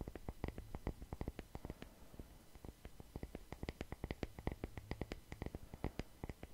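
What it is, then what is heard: Wooden log slice coaster. A solid, palm-sized round slice of natural wood with growth rings and bark, used as a coaster, is scratched and tapped with the fingertips close to the microphone. Many quick, dry, low-heavy taps follow one another with very short decay, over a soft scratchy rustle.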